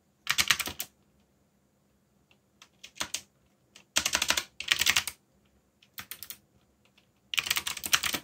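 Fingertips of both hands type rapidly on a backlit mechanical keyboard with black plastic keycaps. Bursts of bright, crisp clicks come in clusters separated by short pauses and quieter scattered taps. Each keystroke stops almost instantly, with very little low end.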